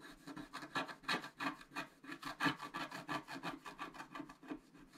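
A wooden stylus scratches and rubs the coating of a flat black-coated scratch art card near the drawn antlers. About nineteen quick, dry rasping strokes come in a steady back-and-forth rhythm, each a bright, papery scrape with a faint low tone underneath. The sound is quiet and close.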